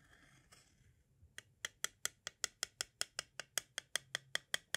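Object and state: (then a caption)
Plastic audio cassette. A pointed tool traces faintly along the bottom edge of a small, hollow, white hard plastic audio cassette shell, then taps near that edge. About 18 sharp, bright clicks follow in a quick, steady run, each dying away almost instantly with no ring.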